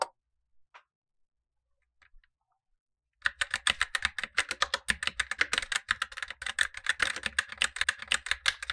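Gloved fingertips type continuously on a black tenkeyless Razer BlackWidow Lite mechanical keyboard with tactile switches and plastic keycaps over a light plate, while a second keyboard below sits idle. After a few faint isolated clicks in near silence, a rapid, steady stream of crisp, bright plastic keystrokes begins at about three seconds, with a clacky tone near 1.7 kHz and very short decay.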